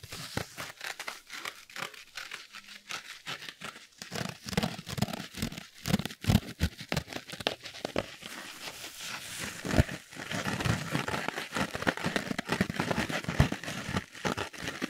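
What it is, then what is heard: Foam kitchen sponge with scouring pad. A small yellow foam kitchen sponge with a green abrasive scouring layer is held in both hands while fingertips scratch the scouring side and squeeze the sponge. Dense, rapid scratchy crinkles and soft squishy squeezes overlap throughout, with bright rasping texture and brief low thumps.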